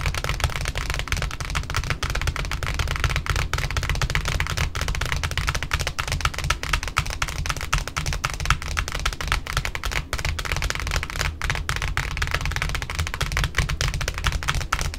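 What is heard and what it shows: Long pointed nails on both hands tap fast across the flat face of a large white cardboard ribbon spool wound with pink satin ribbon. The result is a dense, uneven stream of short, dry clicks with a hollow low thump beneath them and a light bright tick on top, each tap dying away almost instantly.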